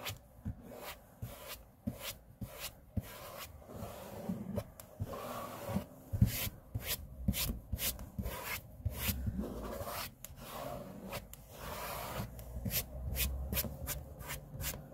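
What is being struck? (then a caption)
Laminate-covered table surface. The sides of hands and fingers rub across a large, flat, solid grey laminate tabletop, giving a soft, low, muffled swishing. Short, sharp, bright strokes and ticks cut in throughout, each dying away almost at once.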